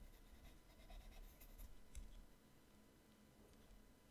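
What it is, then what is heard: Pencil drawing on a sketchbook page. An orange colored pencil draws and shades on the right-hand page of an open paper sketchbook lying flat on a table. Soft, irregular scratching and rubbing strokes are heard, with a few brighter scratches in the first two seconds before the sound settles into quieter shading.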